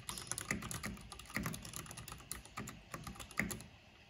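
Fingertips with long painted nails type fast on a full-size black plastic mechanical computer keyboard with a purple backlight, pressing and tapping the keys. The result is a rapid, uneven stream of short, sharp clacks and bright clicks, with occasional louder key strikes standing out over a low body.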